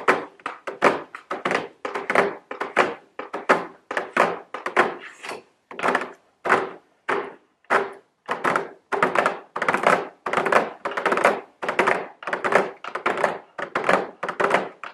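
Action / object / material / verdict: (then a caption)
tap / cardboard box with plastic window / cardboard / none. A medium square cardboard nail polish gift box, held upright with a round plastic window over the nail polish bottles, is tapped and scratched by very long blue nails. Many quick, dry thunks and taps come in uneven bursts, with brief scratchy rasps between them. The sound is hollow and papery, and each hit dies away almost instantly.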